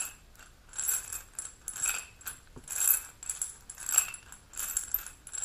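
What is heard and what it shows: A single small amber glass supplement bottle with a metal cap, holding capsules, is held and rotated while being tapped and scratched with long pink nails. Bright, high-pitched scratchy clicks arrive in irregular bursts about once per second, with quiet gaps between them. Each tap dies away quickly, with almost no low end.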